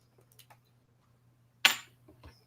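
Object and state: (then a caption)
Plastic replica coin, not real metal. A gold-looking Indian coin, actually a replica stamped out of plastic, gives a single bright, short click with almost no ring, preceded and followed by faint small ticks. It sounds like plastic, not metal.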